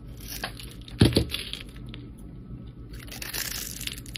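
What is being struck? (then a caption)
Bar of soap. A palm-sized solid teal bar of soap, held in the hand, is scraped and carved along its surface and edges with a flat metal blade. Soft, crunchy scraping and crinkling fills the clip, with two sharper, louder cuts near the one-second mark. Brighter, hissy strokes follow toward the end over a low steady background.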